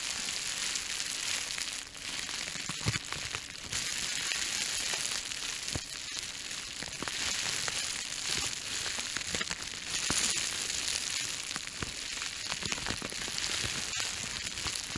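A small wad of clear plastic bubble wrap is held beside the microphone and crushed and crinkled by the fingers. A steady, bright crackling hiss runs throughout, with scattered sharper pops standing out.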